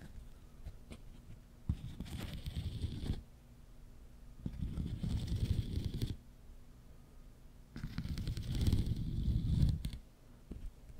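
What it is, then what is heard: Plastic corrugated tube. A long, hollow, pink and white ribbed plastic tube is held across the mic while fingertips and nails scratch and tap its corrugated ridges. Three bursts of dense, low, rumbling scratching are heard, each lasting a second or two, with quiet pauses and a few faint taps between them.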